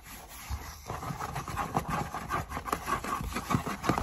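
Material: Cardboard.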